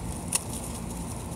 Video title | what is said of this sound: WEARING DAD HATS IN A PARK WITH MY BOYFRIEND - Kylie The Jellyfish | you can hear that sounds like glass